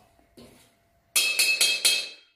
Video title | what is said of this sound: 新铁锅怎么开锅，做错等于吃涂层，教你开锅妙招，保证不锈不粘锅丨董小厨家常菜 | 用刀敲一下听声音他的声音比较清脆